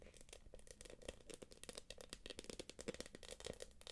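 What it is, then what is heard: Quilted plastic purse. Long acrylic nails tap and scratch the puffy surface of a small, hollow, light-blue quilted glossy plastic purse. The result is a quiet, rapid run of crisp clicks and crinkly scrapes with bright edges and a faint mid tone around 490 Hz, each tap dying away almost at once.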